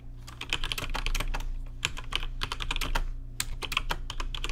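Fingertips type on a rainbow-lit RGB mechanical keyboard with plastic keycaps, producing a rapid run of short, bright clicks and clacks in quick bursts. A steady low hum sits underneath the crisp, fast-decaying keystrokes.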